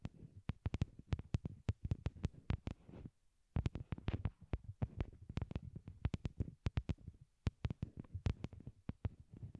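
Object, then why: Small hollow plastic earbuds. A pair of small white hollow plastic wired Apple earbuds, used as the microphones and lying on a cork board, is tapped directly with long glittery nails. The result is a rapid, uneven stream of deep, muffled thumps around 105 Hz, each with a sharp bright click on top and almost no ring. The tapping breaks for a brief pause around the three-second mark.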